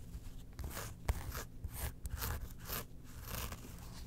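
Long nails scratch the zipper track and faux-leather front of a small, closed, hollow Porg zip wallet made of faux leather and felt, gripped in both hands. Dry, raspy scratching strokes come in bursts with a bright, hissy edge, over a low rumble.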